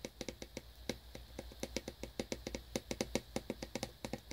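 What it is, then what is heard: Cellophane-wrapped cardboard box. Fingernails tap and lightly scratch the side panel of a small cellophane-wrapped cardboard earbuds box. The result is a quick, uneven run of short, dry, bright ticks with little ring, over a faint low hum.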